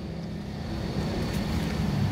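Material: Nothing is struck.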